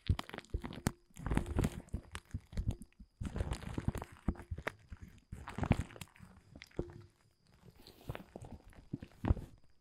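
Fingertips scratch and crumple the surface of a large, thin, dark blue woven polyethylene tent groundsheet lying flat. Soft, dense crinkling and rustling come in bursts separated by brief pauses, weighted toward a low, muffled rumble with little brightness.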